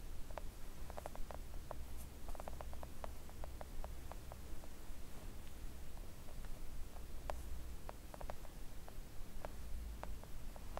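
Long acrylic nails on both hands tap a flat, thin, solid pink silicone nail art mat. The result is a stream of quick, soft, dull clicks that die away almost instantly, riding over a steady low hum.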